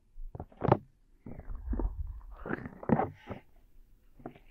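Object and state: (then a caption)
Silicone microphone ears being rubbed. Fingertips of both hands rub and massage the two small soft silicone ears of a 3Dio binaural microphone on a tripod. Soft, muffled rubbing and squishing sounds come in uneven bursts, with a low, rumbling body and no bright edge.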